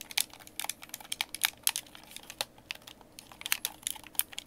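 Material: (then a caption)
Plastic. Fingertips tap and click the buttons and thumbsticks of a white, hollow, hand-sized plastic Xbox game controller held in both hands. Around 25 quick, dry, bright clicks and taps come in an uneven, irregular rhythm, each cutting off with no ring. The sound is quiet and thin, with almost no low end.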